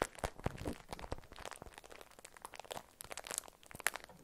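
A beeswax-coated cotton food wrap is peeled open and crinkled by hands with long nails. The sound is a quiet, irregular run of sharp, dry crackles and crinkling snaps, bright and papery, with no ring after each one.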